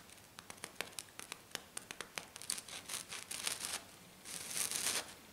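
One hand with long black nails scratches a flat silver glitter-coated sheet. Quick, bright scratching strokes come at first as separate crisp ticks, then bunch into faster, denser rasps. The clip ends with a longer, sustained high scrape that fades out, with almost no low end.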